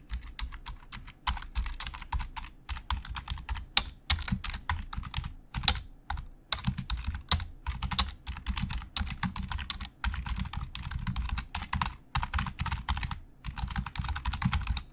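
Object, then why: Plastic computer keyboard. Both hands type with their fingertips on a black plastic Logitech keyboard with hollow plastic keys. Rapid, uneven keystrokes give a steady stream of short, bright plastic clicks over a low, hollow thud, each dying away almost at once. Brief pauses break up the flurries of typing.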